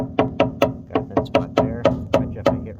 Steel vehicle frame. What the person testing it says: Got a thin spot there. If I just hit hard enough, it's going to go through there.